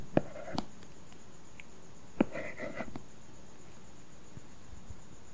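A stylus writes letters on an iPad's glass screen fitted with a matte, paper-feel plastic film. It makes soft taps and short scratchy strokes in two brief bursts, with about five distinct hits over a quiet background. A faint, steady high-pitched tone runs throughout.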